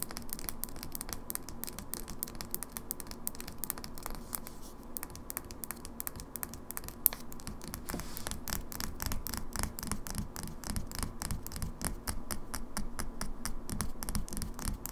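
Long fingernails rapidly tap and scratch on a small glass cosmetic foundation bottle with a plastic pump cap, held in hand and partly full of liquid, moving over both the glass and its label. Quick, sharp, dry clicks with bright high edges repeat in an uneven stream over a steady low hum, with one louder click standing out near the middle.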